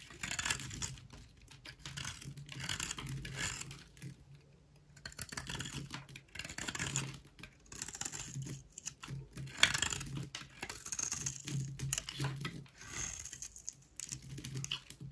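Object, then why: Bar soap shaved with a blade. A solid rectangular beige bar of soap with an embossed logo is held in the hand and shaved with a utility knife blade into dry curls. Repeated bursts of crisp, bright scraping and crackling rasp out with short pauses between strokes, over a faint low hum.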